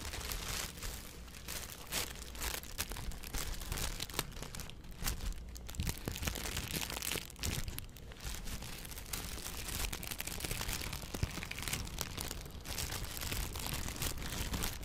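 A thin, hollow, empty blue plastic bag held right at the mic is crumpled and rubbed with fingertips by both hands. Dense crinkling and crackling continues throughout, bright on top with a strong low rumble from the close handling. The short crackles run together without separate hits.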